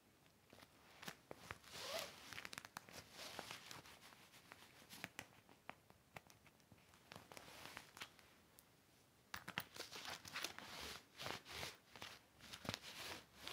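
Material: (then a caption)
Vinyl. Fingertips handle a large, flat, empty clear heavy vinyl pocket organizer with zippers, lying on a red blanket, while it is rubbed with a yellow cloth near a zipper. The vinyl gives bright, crinkly rustles with sharp crackles, and the zippers rattle softly. After a brief quieter stretch around nine seconds, the rubbing picks up and grows louder.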